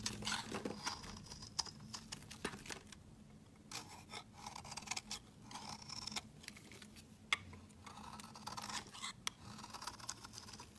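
A metal utility-knife blade shaves flakes off a large, rectangular, solid pale yellow citrus-lime soap bar held in the hand. The sound is a run of quiet, crisp, bright scraping and crackling strokes with a few sharper clicks, over a faint steady low hum.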